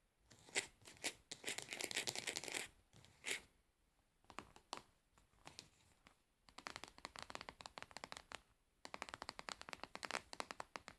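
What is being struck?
Plastic cosmetic jar.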